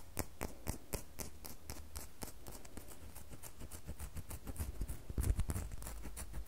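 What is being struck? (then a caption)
Bar of soap. Long manicured fingernails scratch and tap a small, solid, rectangular bar of red soap held in the hand. The result is a quick, steady series of sharp, bright clicking taps with soft scratching between them. A low, steady hum sits underneath throughout.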